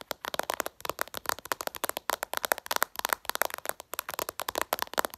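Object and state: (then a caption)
Glass smartphone screen. Long purple nails tap quickly and aggressively on the glossy glass screen of a smartphone lying flat, producing a rapid series of about thirty sharp, dry clicks. Each click is bright and brief, with almost no ring and no low end.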